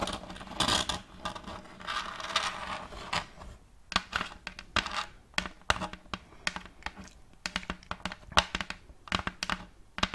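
Long acrylic nails quickly scratch and tap a round wooden plate with a checkerboard-block pattern, held upright. Rough, bright scratching fills the first few seconds, then gives way to a rapid run of short, dry, clicky taps with almost no ring.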